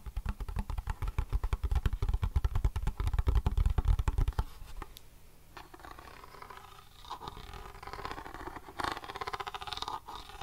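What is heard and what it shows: A grey plastic NES game cartridge with a hollow plastic shell is held close to the mic and tapped and scratched on its face with fingernails. For the first four seconds, rapid, loud, hollow taps thump with a deep, boomy low end. Then the tapping stops, leaving quieter, softer scratching and rustling with occasional brighter scrapes.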